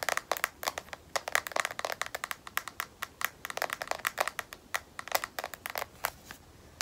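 A smartphone in a solid black matte, rubberized plastic case is tapped on its edge with long nails in a quick, uneven series of about 36 taps. Each tap is a sharp, dry click centered near 2 kHz with a bright top and almost no low end. The taps stop dead with no ring.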